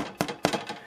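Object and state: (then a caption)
Baked bread rolls, hollow (done). Freshly baked pan rolls are thumped to test whether they are done, giving five quick, dull, hollow knocks, two louder than the rest, each fading almost at once. The hollow sound shows the rolls are baked through and done.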